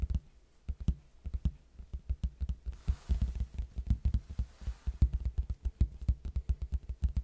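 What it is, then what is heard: Cardboard box tapped by fingertips. A large, hollow red cardboard box is held sideways near the microphone and tapped with the fingertips on its flat face. A quick, uneven run of soft, deep thumps follows, each hollow and low with a very short decay. A faint hiss rises briefly in the middle of the sequence.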